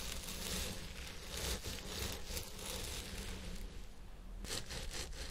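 Fingertips and nails scratch and rub the fibers at the crown of a purple synthetic wig on a head form. A steady, dense crackling rustle with bright hissy texture and a low rumble underneath continues throughout, with brief brighter bursts of scratching.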